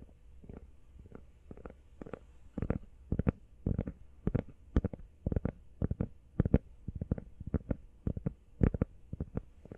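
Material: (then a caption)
Rubber. Fast fingertip tapping on a rubber iPhone case produces dull, low thuds in quick, uneven bursts. Each tap is short and dies away almost at once, with most of its weight in the deep bass and little brightness.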